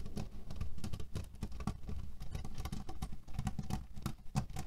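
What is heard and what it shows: A cotton pillow filled with cherry stones is tapped and scratched with fingernails while fingers press into the pits. A dense run of soft, low, muffled clicks and rattles follows, each one short and quickly damped, with occasional brighter ticks.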